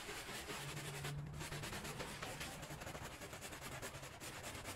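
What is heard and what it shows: A gloved hand scrubs a small, patterned woven rug lying flat on the floor, soaked and soapy, with a handheld brush in back-and-forth strokes. The result is a steady, dense, wet scratching hiss across a broad band, with faint rhythmic swells from the strokes and a low hum underneath.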